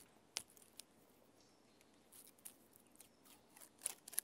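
A hand with long nails scratches the rough bark of a standing tree trunk. Quiet, dry, bright scratching and crackling comes in short bursts, with a few sharp clicking peaks and almost no low end.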